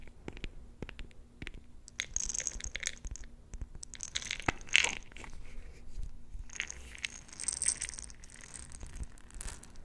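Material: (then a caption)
Glass. Long nails scratch and tap a small, round, clear glass jar with a metal lid, filled with colorful plastic beads. Bright, crisp taps and scratchy rasps come in quick bursts, with the beads shifting and rattling inside. A sharp click stands out near the middle of the clip.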